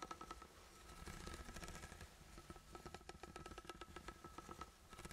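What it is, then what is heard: Steel tin can. A sealed, ribbed steel food can is held close to the mic and scratched and tapped with the fingertips. Rapid bursts of light, dry scratching and ticking taps come over a low rumble, with a faint metallic ring near 1.3 kHz that dies away almost at once.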